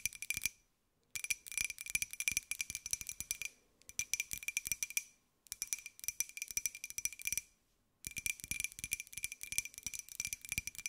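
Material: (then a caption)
Ceramic. Long white acrylic nails tap rapidly on a small, hollow, open-topped white glossy ceramic jar with a pink and gold pineapple print, held in both hands. The result is a dense run of bright, clicky taps carrying a faint ringing tone near 2.4 kHz, each dying away almost instantly. The tapping comes in four bursts separated by short silences.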